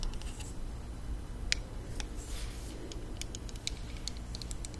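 Long nails tap along the hollow plastic body of a small pink plastic mini hair straightener held closed. The result is a series of quick, dry, high clicks with almost no ring, over a steady low background hum.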